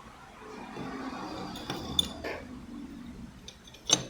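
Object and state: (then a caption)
Scooter clutch part with excessive play. A metal clutch part from a Yamaha N-max scooter is refitted and shaken, giving sharp, high metallic clinks over a low background. Three distinct clinks stand out, around 2.0, 2.3 and 3.9 seconds. The clinking comes from excessive play in the part, a fault.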